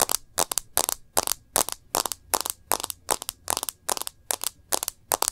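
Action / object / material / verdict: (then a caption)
tap / smartphone in a plastic case with glass screen / plastic / none. Long nails tap the edge and glass screen of a smartphone in a rose-gold plastic case. About twenty short, bright, crisp clicks come in quick, loosely regular bursts with almost no ring or low end. Some taps land as quick doubles.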